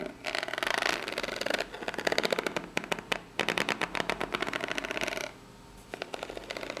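Long nails scratch with their tips across the ribbed top of a small, hollow, brown corrugated cardboard box. Dense, bright, rasping scratches come in rapid ticking bursts, with short pauses between strokes. The hollow box gives the scratches a light, papery body with a mid-range hum underneath.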